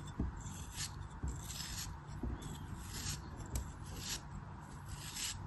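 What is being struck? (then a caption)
Packed block of kinetic sand. A small packed block of pink kinetic sand, held between fingers with long pale nails, is sliced and scraped along its edges with a craft blade. Soft gritty scraping and rubbing, with a low, dull body and bright crumbly hiss, is punctuated by several soft thuds. Sand crumbles off the block.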